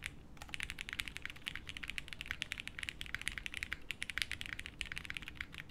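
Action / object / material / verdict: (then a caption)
tap / mechanical keyboard with plastic keycaps / plastic / none. A 60% mechanical keyboard with beige doubleshot plastic keycaps in a light case with no plate, resting on a felt desk mat, is typed on continuously with the fingertips of both hands. It gives a fast, steady stream of short, crisp, bright clacks centered around 2.2 kHz, each dying away almost instantly, over a soft low thump.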